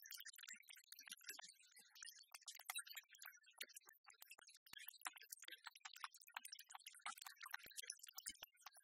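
Long red-polished nails quickly tap and scratch the glossy back panel of a small, hollow black plastic iHome speaker and alarm-clock dock, held in both hands on a wooden table. The result is a dense run of dry, bright clicks and scratchy ticks that stop instantly with no ring.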